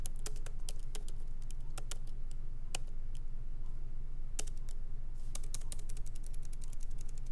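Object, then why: Laptop keyboard with plastic keys in a metal body. Light fingertip typing from both hands on a MacBook Pro laptop resting on a wooden desk, its plastic keycaps set in an aluminum body. Quick, uneven, sharp clicks come in bursts with short pauses, each tap dying away almost instantly over a steady low hum.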